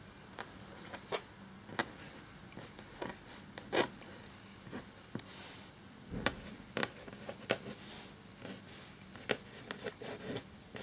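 A black feather quill nib scratches across a thin, cream parchment-style paper sheet lying flat while writing. About sixteen short, dry, bright scratch strokes stand apart over a faint rustling hiss, each stopping almost instantly.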